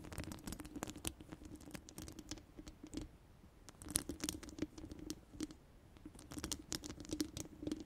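Long orange acrylic nails on both hands scratch and tap the round, hollow steel mesh dome grille of a large studio microphone. Quick, bright clicks and scratchy patter come in dense bursts over a steady low resonant tone, with brief quieter pauses just after the three-second mark and again around six seconds.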